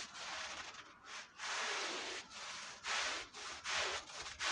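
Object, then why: Wool Persian rug scrubbed with a brush. A long-handled push brush scrubs a dirty red woven wool Persian rug covered in foam. Its back-and-forth strokes make a bright, hissy, sand-like rubbing that swells and fades with each pass, with brief quiet gaps between strokes and no low rumble.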